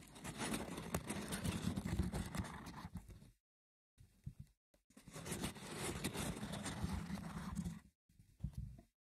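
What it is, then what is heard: Woven wicker basket box. Fingers scratch the woven side walls of a small, hollow, rectangular wicker box with a lid. Two long stretches of rough, dense scratching, weighted toward the low end, are separated by brief pauses and a few short scrapes.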